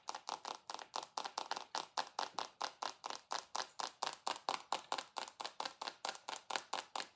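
A rectangular dark glass perfume bottle with a gold base, held in both hands, is tapped quickly with long acrylic nails. About 35 sharp, bright clicks come in a fast, uneven stream, with a glassy ring near 780 Hz. Each tap dies away almost at once.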